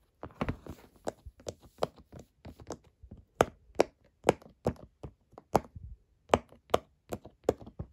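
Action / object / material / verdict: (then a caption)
tap / silicone pop-it fidget toy / silicone / none. Fingertips push and pop the hollow bubbles of a square rainbow silicone pop-it fidget toy resting on a table. A steady run of short, dry, hollow pops and taps is heard, each centered in the mid range around 480 Hz and dying away almost instantly, with some hits louder than others.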